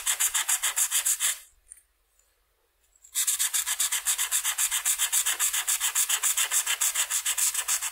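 A red felt-tip marker rubs back and forth over a flat white paper coloring sheet to fill in a wing section. It makes quick, steady, bright scratchy strokes, which stop for about a second and a half of near silence and then resume at the same brisk rhythm.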